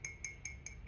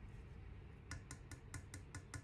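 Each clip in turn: First: modern high-fired ceramic cup. Second: authentic ancient low-fired clay figure.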